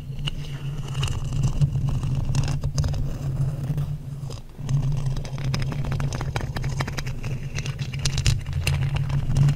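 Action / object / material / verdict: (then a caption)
scrape / metal mesh microphone grille scraped with thin wooden sticks / metal mesh / none. Thin wooden sticks are scraped back and forth across a hollow black metal mesh microphone grille. The result is a steady, low, rumbling hum layered with dense, rapid scratchy crackles and bright ticks. The sound dips briefly near the middle before resuming.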